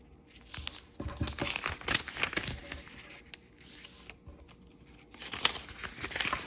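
A small sheet of thin, bright kaleidoscope-pattern origami paper is folded by fingertips and its creases are rubbed flat against a table. Crisp, high crinkles and papery rustles come in quick bursts, ease into a quieter stretch midway, then pick up again with sharp crackles.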